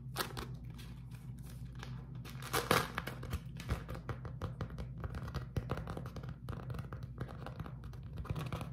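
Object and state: Beeswax-coated cotton food wrap.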